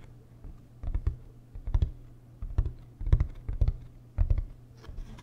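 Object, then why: Hard-shell plastic suitcase. Fingertips tap on the shell and edge of a large, hollow, beige hard-shell plastic suitcase. The result is irregular clusters of dull, low, hollow thumps with soft clicky edges, each dying away almost at once.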